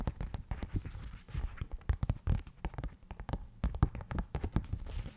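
Long nails tap and pat rapidly on the glossy printed cover of a thin softcover paper rule booklet held up in the air. The result is a dense run of quick, dull, low thuds, each dying away almost at once.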